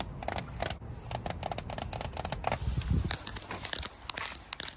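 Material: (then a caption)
Polycarbonate plastic. Long nails tap and scratch along the ridges of a thin, clear, hollow-fluted corrugated polycarbonate roofing sheet with water droplets on it. The result is a quick run of crisp, bright plastic ticks and crackly scrapes, with a low rumble underneath.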